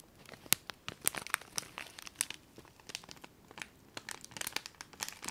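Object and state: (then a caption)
Plastic bag of foil confetti. A small clear plastic bag filled with colourful foil confetti is held in both hands and squeezed and crinkled with the fingers and long nails. The result is a quiet, bright, papery crinkling made of rapid, sharp crackles that stop instantly, with almost no low end.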